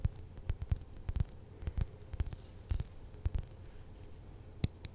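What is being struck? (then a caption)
Polyurethane foam squishy toy. A large, glossy purple narwhal squishy toy made of soft polyurethane foam, with a solid foam body and a gold horn, is held beside the microphone and tapped and scratched with long acrylic nails. About fifteen short, dull, low thumps sound in an irregular rhythm, with faint scratchy rustling between them.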